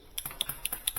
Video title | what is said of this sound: Solid State Relay V Amperage | if you shake this you can hear the plunger going up and down